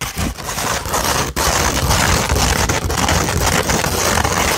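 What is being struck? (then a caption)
Sheet of sandpaper. Long red nails scratch across the grit of a flat sheet of sandpaper held up in the air. The result is a dense, continuous gritty rasping that spans deep lows to bright highs, with only a brief drop in loudness about a third of the way through.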